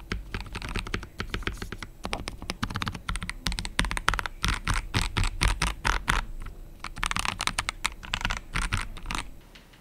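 Fingertips of both hands type steadily on an assembled KBD67 Lite R3 65% mechanical keyboard with a plastic case, plastic keycaps and RGB backlight, resting on a wooden desk. Short, dry keystrokes come in uneven rapid bursts of about four per second, each a deep thock with a bright clack on top. Brief pauses break up the typing.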